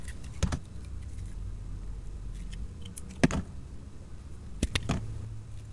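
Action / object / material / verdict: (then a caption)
scrape / soap bar / soap / none. A utility knife blade scrapes across the face of a solid, hand-sized oval bar of dark blue soap with a purple glitter layer, held in the palm, leaving streaks. Brief, bright scraping strokes stand out over a steady low rumble, with quieter scratches in between.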